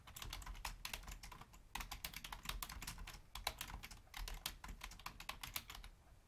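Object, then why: Plastic computer keyboard. Long fingernails and fingertips of both hands type rapidly on a full-size black plastic Logitech membrane keyboard with a hollow housing. The result is a quick, uneven stream of short, bright key clicks and taps over a soft low thump, each tap dying away almost instantly, with a few brief pauses between bursts.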